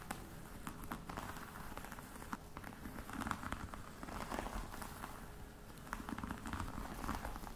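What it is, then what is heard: Faux croc leather box. Long nails tap and scratch the lid of a flat, hollow black box covered in croc-embossed faux leather. A quiet, steady patter of short, dry clicks runs over a soft scratching texture. The sound is weighted toward the low end, and the taps die away almost instantly with no ring.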